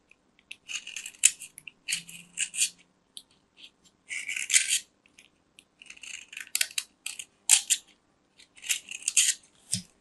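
A metal craft knife scrapes flakes off the face of a small, round, solid white soap disc held in the hand. Short, dry, bright scraping strokes come in uneven bursts, with almost no low end and no ring after each pass.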